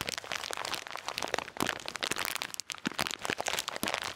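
A full blue and white plastic bag of salted peanuts is held close to the mic and crinkled and shaken by the fingers. Dense, bright crackling and crunching rustle runs throughout with very little low end, and the peanuts shift faintly inside the bag.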